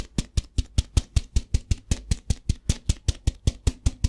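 Fingertips tap a translucent plastic tub filled with rice while it is tilted so the rice shifts inside. About 21 quick, evenly paced taps land in a steady rhythm. Each is a short, dull low thump with a brief bright rattle on top that dies away almost at once.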